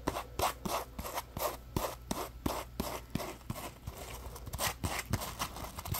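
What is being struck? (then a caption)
Textured polymer foam scrub sponge. Fingertips rub and scratch along the rough surface of a palm-sized, solid, yellow textured polymer foam scrub sponge shaped as a Scrub Daddy puppy. Quick, dry rasping strokes repeat about three times a second in a slightly uneven rhythm, each a short brushy scratch with a soft low thump and bright hiss that dies away almost at once.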